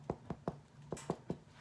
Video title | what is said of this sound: Easily Make Bread From Scratch While Quarantined | sounds pretty hollow to me if it's hollow that means your bread is good